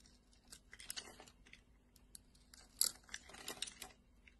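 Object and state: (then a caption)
Glycerin soap bar being cut and scraped. A solid red translucent glycerin soap bar, held in hand and cut into a grid, is scraped with a metal blade. It gives a quiet run of crisp, bright crackling and crunching bursts that cluster together, with the loudest scrape near the end, over a faint steady low hum.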